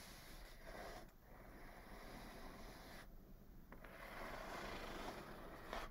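Long fingernails scratch along the top of a medium, closed, hollow brown corrugated cardboard box. The result is a soft, steady rasping rub with a faint hollow resonance. It runs continuously with brief dips and swells and grows a little louder near the end.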